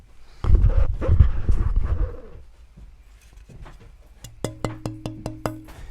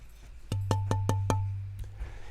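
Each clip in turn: First: rosewood fretboard blank with good tap tone. Second: ebony fretboard blank tap tone.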